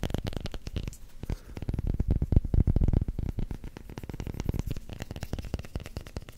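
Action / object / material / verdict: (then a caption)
tap / rubber hockey puck / rubber / none. A solid black vulcanized rubber hockey puck, held near the mic, is tapped and scratched with fingertips and short nails. The result is a rapid, continuous stream of short, dull, low thuds with faint scratchy texture. The taps grow loudest around the middle and then continue more softly.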